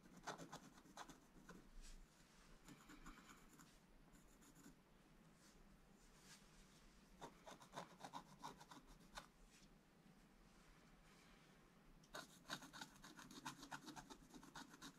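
A pointed wooden stylus scratches lines into a black-coated scratch-art card, a flat, thin sheet in a book, removing the coating to reveal gold underneath. Quick, bright, dry scratching strokes come in irregular bursts, with quieter stretches of soft rubbing between them.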